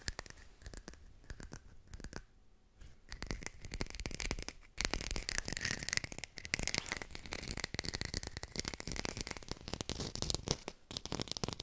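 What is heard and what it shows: A textured artificial plastic lime is fast-tapped and recorded with a hi-fi microphone, producing a dense stream of rapid, dry clicks and scratchy, rustling texture. The tapping starts softer, then grows louder and busier after about five seconds, with a faint bright tone near 2 kHz running through it.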